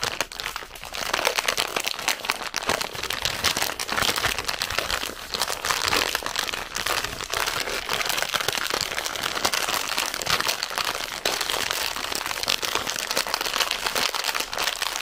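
A full red plastic zefir bag is crinkled and scratched with long painted nails, giving a continuous bright crackling rustle that keeps going for the whole clip at a steady level with almost no low end.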